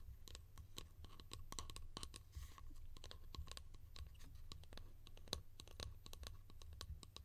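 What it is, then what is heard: Plastic lid tapped and scratched with nails. A small hollow yellow plastic lid held in the hands is scratched and tapped with long nails. Rapid, sharp clicky taps and scratches come in quick, irregular succession over a low, steady hum.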